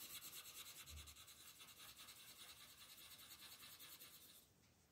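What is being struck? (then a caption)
Wooden colored pencil on a paper page. A red wooden colored pencil is rubbed in steady, rapid strokes across a flat paper coloring book page as a crab is colored in. The result is a soft, bright, scratchy rasp that repeats quickly, with a brief low thump near the start. The strokes fade and stop just before the end.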